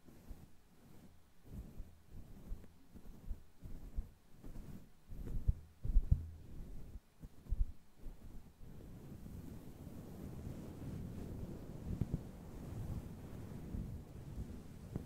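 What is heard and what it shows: Long glitter claw nails on both hands scratch and rub a grey fuzzy faux fur windscreen on a microphone. The first half brings a run of muffled, low thumping scratches in quick bursts. After that it turns into a steady, dull rumbling rub with almost no high end.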